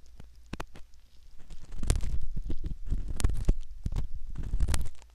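A metal ear pick scrapes and rubs at the canal entrance of a soft silicone ear model, heard very close up. Deep, muffled rumbling scrapes and soft crackles come in bursts, growing louder and denser midway and fading quietly at the end.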